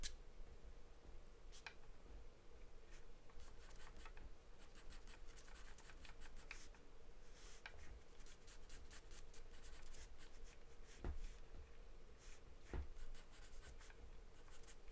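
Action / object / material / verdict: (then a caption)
scrape / paper sheet scratched with a graphite pencil / paper / none. A wooden pencil makes short, quick strokes around the mouth of a charcoal portrait on a taped sheet of white paper. Soft, dry scratching comes in bursts over a quiet, steady low rumble and a faint hum. A few sharper ticks stand out near the end.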